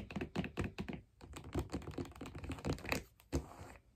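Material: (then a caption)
Wood. Long black nails tap the solid wooden sole of a figure skate lying on its side, heel up and blade guard fitted. The result is a quick, uneven run of dull, low knocks and clicks, like keyboard typing, each dying out almost at once.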